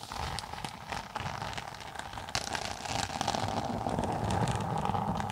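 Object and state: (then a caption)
Textured synthetic tablet case being scratched. Long nails scratch the red and green textured cover of a thin, flat, closed synthetic tablet case held flat above the microphone. The result is a dense, crackling scrape of many small ticks over a steady hiss with a mid-range band near 770 Hz. It grows slightly louder and busier partway through.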